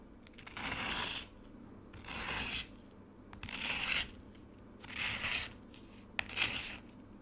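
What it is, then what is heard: Frozen lemonade slab scraped with a spoon. A metal spoon scrapes and scratches the surface of a solid frozen lemonade slab with shaved ice, sitting in a black rectangular plastic tray. Four long, bright, gritty scraping strokes are heard, separated by short quiet pauses, with a few sharp clicks in between.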